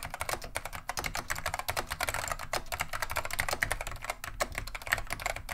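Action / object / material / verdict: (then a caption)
tap / plastic mechanical keyboard / plastic / none. Both hands type continuously with the fingertips on a beige plastic vintage Wang 725 mechanical keyboard fitted with neon green/lime Alps SKCM switches. The result is a steady stream of sharp, bright clacks with short decays and a light low thump beneath them.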